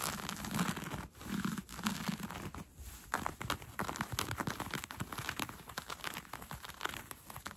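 Fingernails scratch along the elastic waistband of brown cotton fleece sweatpants being worn. A dense, steady run of soft, dry scratching and crinkly rustling fills the clip, with bright fabric texture over a faint low hum of brushing and a few brief pauses early on.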